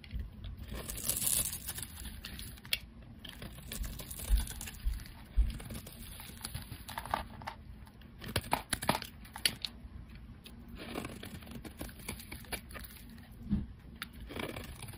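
A solid, hand-sized oval white soap bar with pink streaks is held in the hand and scraped and carved with a metal blade, with flakes falling away. Quiet, dry scraping and crisp crackling shavings repeat throughout, with occasional sharper clicks over a low, steady rumble.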